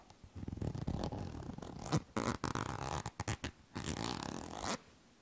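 Long nails scratch along the body of an apparently filled yellow plastic cosmetic cream tube held close to a microphone. The result is a series of raspy, zipper-like scratching strokes with a heavy low end, broken by short pauses. A final longer stroke ends around 4.7 seconds and is followed by quiet.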